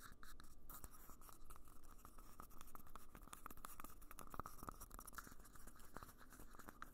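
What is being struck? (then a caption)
Thin disposable plastic cup. Fingertips tap and scratch the outer wall and base of a small, hollow, empty red disposable plastic party cup held close to the recorder. Quick, dry taps with very short ring repeat over a steady scratchy rustle, and a faint hollow tone near 1.25 kHz runs through each tap.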